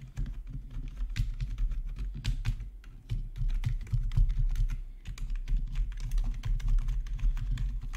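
Fingertips type steadily on a black plastic RGB backlit gaming keyboard, with one hand briefly moving to the numpad. Quick, short key clacks with bright edges ride over a constant low hum around 60 Hz. The typing continues in uneven bursts without pause.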